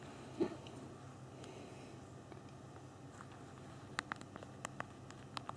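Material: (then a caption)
Plastic. Thumbs tap rapidly on the small plastic keys of a handheld BlackBerry phone's physical keyboard while typing. A single soft tap sounds near the start, followed by a quiet stretch of low background hum, then a cluster of short, crisp, bright clicks near the end.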